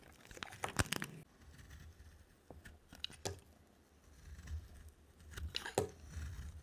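A solid, dry yellow bar of soap is held in the hand and shaved with a utility knife blade, curling off thick shavings. Dry, crunchy scraping strokes come in uneven bursts with bright crackle, separated by quieter stretches over a low background hum.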